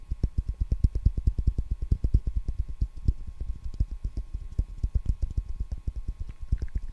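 A wide roll of clear plastic packing tape on a hollow cardboard core is held in the hand and tapped and scratched on its flat side and edge with fingertips and nails. The result is a rapid, steady run of soft, dull, low thumps that die away almost instantly, over a faint constant hum.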